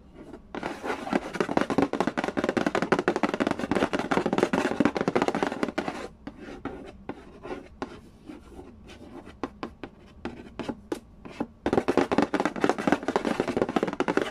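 Fingertips rapidly tap and scratch on the lid of a hollow cardboard Candy Land board game box, making a dense, dry, papery rattle with short taps and little ring. The flurry thins to sparser, separated taps in the middle, then returns to fast, continuous tapping and scratching at the end.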